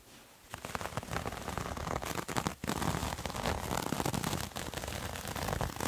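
A multicolored striped terry cloth towel is held in both hands and scratched and rubbed with fingernails. After a quiet first half second, a dense, steady crackling scratch fills the clip, broad and bright with a soft low rumble beneath, pausing briefly just past the midpoint before continuing to the end.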